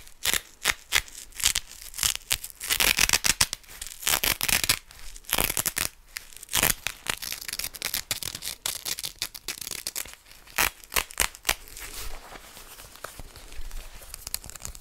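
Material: Cotton fabric.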